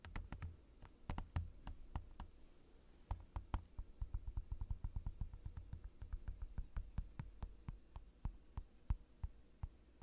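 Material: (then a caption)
Plastic. Fingertips of both hands tap and lightly knock on a large, clear plastic desk mat lying on a desk. The result is a quiet, irregular stream of short, dry taps, each with a soft low thud and a brief bright click that dies away almost instantly.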